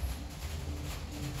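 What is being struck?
Nothing is struck.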